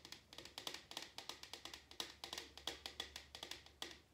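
An empty printed paper/cardboard drink cup held in the hand is tapped with fingertips and nails on its side and bottom. About 28 quick, light taps sound in an irregular rhythm. They are bright and crisp, mostly high-pitched, with almost no low end and very short decay.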